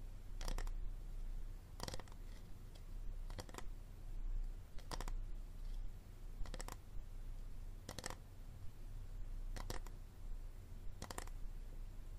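A hard plastic water bottle is tapped and scratched, giving quiet, dry, brief clicks and scratchy bursts that fade almost at once. They are spaced at roughly regular intervals over a steady low hum.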